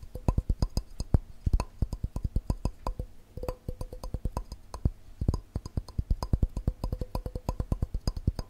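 A glass cup is tapped quickly with the fingers, producing a fast, uneven stream of short, dry knocks. Each tap has a dull low thump and a faint glassy ring near 500 Hz that dies away almost at once.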